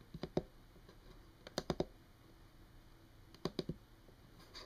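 Long, teal-painted fingernails of both hands tap and lightly scratch a solid wood-grain desk surface. Sharp, dry clicks come in three quick clusters of taps, with faint scratching over a quiet background between them.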